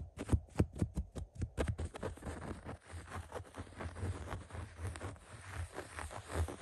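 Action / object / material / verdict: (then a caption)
scrape / woven fabric upholstery of a recliner / woven fabric / none. Fingertips scratch and rub the beige woven upholstery fabric and piped seam of a recliner. About seven quick, separate scratches in the first two seconds give way to steady, continuous rubbing. The texture is dry and papery, with a low, dull body and a faint high hiss.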